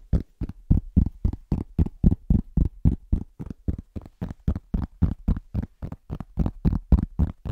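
Rapid fingertip tapping on a large, thin, solid round cork trivet that is moved around close to the mic. It makes a fast, fairly even run of dull, muffled thuds, about three to four per second, each dying away almost at once. The sound is deep and soft with almost no brightness, and its loudness shifts from tap to tap as the trivet moves.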